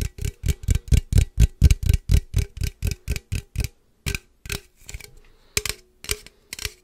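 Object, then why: Aluminum drink can. Fingertips and nails tap and scratch a hollow, standard-size aluminum energy drink can with pink and purple print, held close to the mic. A steady run of quick, deep, dull taps with a short bright metallic click is followed by a brief pause. Then come a few scattered taps and a soft scratching rasp.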